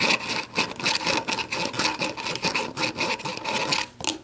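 Long black nails tap and scratch around an orange plastic screw cap and the shoulder of an empty clear plastic bottle. The result is a dense, bright, dry scratching with quick light taps and a faint steady tone near 2.6 kHz. It pulses unevenly throughout, dips briefly near the end, then returns.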